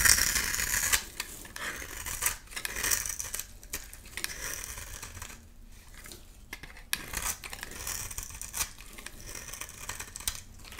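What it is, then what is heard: Bar soap being scraped and cut. A metal blade scrapes and cuts flakes from a solid white rectangular bar of soap held in the hand. Bright, crisp scraping and rapid crackly scratches run throughout, loudest at the very start, then continue in quieter, uneven bursts.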